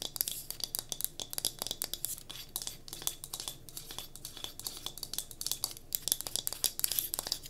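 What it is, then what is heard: Solid wooden block candle holder. A small solid pine cube used as a wooden block candle holder is held in the hands while long nails tap and scratch its faces. Quick, crisp, bright ticks and scrapes come in a dense, uneven stream with almost no ring, over a soft rustle.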